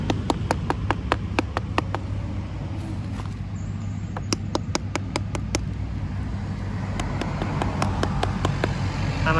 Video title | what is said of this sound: พาไปซื้อทุเรียน มาขาย/เศรษฐี ไม่มีนาย EP.443 | เสียงลงธรรมดาครับประมาณนี้นะครับเสียงก็ผมคัดเป็นเสียงลงนะครับเสียงมันยังไม่ค่อยหลวม